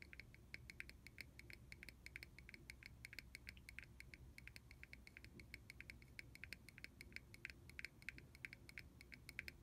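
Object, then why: Small plastic bottle cap. A small, hollow, clear red plastic cap, removed from a mist bottle and held in the fingers, is tapped rapidly on its sides with a fingernail. The taps are quick, light, bright clicks centered around 2 kHz that die away almost instantly. They sound over a soft, steady low rumble throughout.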